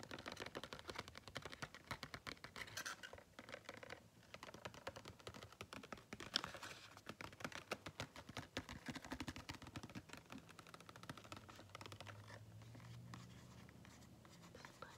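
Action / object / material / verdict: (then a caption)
scrape / small cardboard box / cardboard / none. A small, hand-sized printed cardboard retail box holding a sponge is tapped and scratched with fingertips and nails. Quick, crisp, quiet taps and dry scratches run densely throughout, easing into softer, steadier rubbing toward the end.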